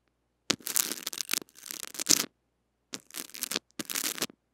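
A small white brush with stiff bristles scratches the metal-mesh head of a small mini microphone wrapped in clear cling film and held in the fingers. The result is bright, crackly, crinkling scrapes in several dense bursts separated by short silences, with almost no low end.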